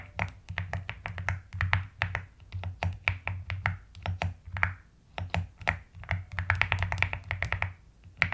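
Long-nailed fingers type and tap continuously on a white and pastel plastic mechanical keyboard, producing a rapid stream of short, crisp clicks with little ring, brightest around 2 kHz. A steady low hum sits underneath, and the typing pauses briefly about halfway through.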